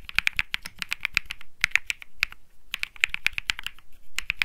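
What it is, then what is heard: Mechanical keyboard with plastic keycaps. Fingertips type on the plastic keycaps of a cream Think 6.5 mechanical keyboard with Bsun Lollipop switches. About 28 sharp, bright clacks come in quick, uneven bursts, each centered near 2.2 kHz with a dull low thump underneath. Each one dies away almost instantly.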